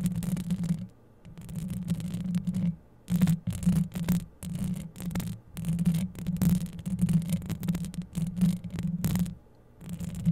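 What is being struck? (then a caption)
Metal wire-mesh microphone grille. Long yellow acrylic nails scratch rapidly across the rounded, hollow metal wire-mesh grille of a dark grey USB condenser microphone. The close contact produces a dense, low, rumbling scrape with a steady hum-like tone. It comes in bursts separated by brief silent pauses.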